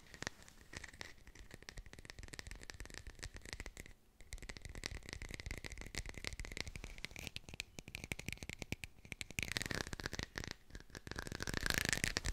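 A textured artificial plastic lemon is fast-tapped with the fingers and recorded with a hi-fi microphone, giving a dense stream of quick, dry, rattling taps with a bright scratchy edge and a steady ringing tone near 2 kHz. The tapping briefly pauses around the four-second mark, then resumes and grows louder and harsher toward the end.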